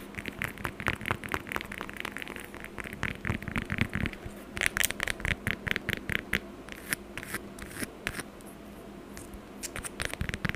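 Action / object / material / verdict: scrape / whole orange with peel / orange peel / none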